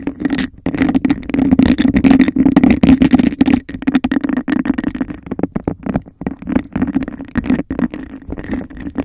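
Long nails scratch and tap fast and hard on the bumpy surface of a hollow, empty, hand-sized cup of embossed textured glass. Dense, rapid, irregular scraping and clicking carries a steady low hollow tone near 262 Hz, with sharp dry taps that stop almost instantly.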